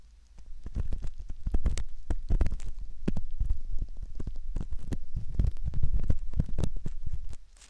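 A metal ear pick scrapes the canal opening of a soft silicone ear model, making a dense run of close, muffled scratching and rubbing bursts. The sound is deep and thumping with almost no high end, continuing steadily for about seven seconds before dropping away.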